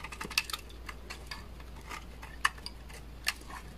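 A utility knife blade scrapes chunky flakes off the edge of a solid beige bar of dry laundry soap held in the hand. The result is a series of short, crisp, bright cracking clicks with very little ring, and a few louder snaps stand out among the softer scrapes. A faint low hum sits steadily underneath.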